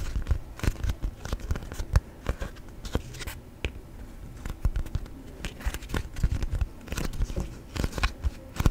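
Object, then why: Folded beeswax-coated cotton wrap. A thin, folded yellow sheet of beeswax-coated cotton food wrap is bent, creased and tapped with fingertips. It gives a stiff, waxy crinkle made of many short, sharp crackles and soft taps over a low, muffled rustle.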